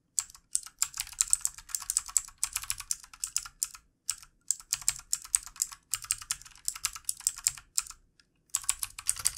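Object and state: Plastic computer keyboard.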